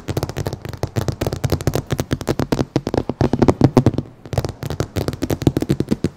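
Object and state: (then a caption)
Car windshield glass, tapped with nails. Long painted nails and fingertips of both hands tap and scratch across the large laminated glass windshield of a dark Lexus SUV, a solid pane mounted in the car body. A rapid, steady stream of short, dull clicking taps with brief scratchy passes is heard, each tap dying away almost instantly with a low, muted body.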